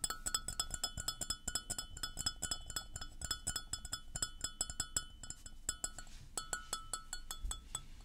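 A white floral porcelain mug, hollow and empty, is held, tilted and tapped with fingernails in a quick, uneven rhythm. Each tap is a short, bright clink with a faint mid-pitched ring that dies away almost at once, over a soft low rumble.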